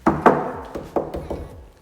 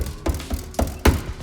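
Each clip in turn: First: Six dull mid-pitched knocks on a trunk trim panel, each dying quickly with no buzz or rattle after. Second: Four dull, low knocks on a car trim panel; a loose clip or wire behind it rattles.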